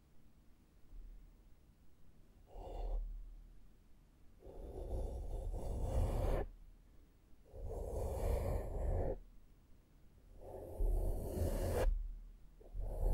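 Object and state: Nothing is struck.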